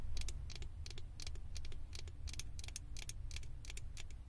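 Long acrylic nails tap and scratch the ears and head of a small, hollow blue plastic Stitch figure fitted on a microphone. Quick, bright, clicky taps and scratchy strokes ride over a steady low rumbling hum.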